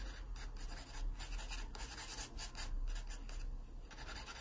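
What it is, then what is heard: Pencil scratching on a paper sketchbook page. A yellow wooden graphite pencil, held in the fingers, makes quick, dense scratching strokes across the page of an open paper sketchbook lying flat. Bright, raspy bursts of pencil scratch rise and fall in rapid succession over a faint low rumble.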